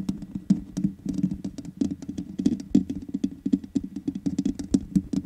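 Long nails tap rapidly and continuously on the hollow metal mesh grille of a black microphone. The result is a dense patter of dry, short clicks with a warm low-mid body and a faint bright edge, each tap dying away almost at once.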